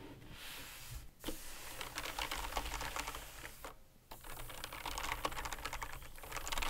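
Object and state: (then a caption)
Mechanical keyboard with plastic keycaps. A full-size black Razer BlackWidow Elite mechanical gaming keyboard, with plastic keycaps on a metal top plate and a padded wrist rest, lies on a white table as gloved fingertips type and press the keys. A rapid stream of crisp, bright clicks and clacks runs throughout, with two brief pauses and a slight low hum beneath.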